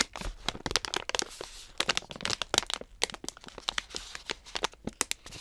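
Long nails tap and scratch the front of a medium-size Bakers Allsorts stand-up plastic pouch filled with dog treats, held upright. A rapid, uneven run of sharp, bright crinkling clicks and scratchy rustles is heard. Each tap is dry and stops at once, with no ring.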